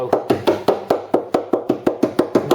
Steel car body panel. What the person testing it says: you can tell how solid it is by the sounds is a soft nice hollow ring to it which shows that the there's no rust there because the panel's resonate as you tap it